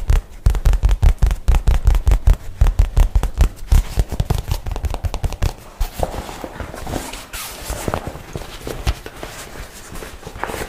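A light blue nylon shoulder bag is held in one hand while the fingernails of the other hand tap and scratch its crinkly fabric. Fast, uneven taps land as deep, dull thumps for the first half. The sound then eases into quieter, brighter scratching and crinkling with scattered taps.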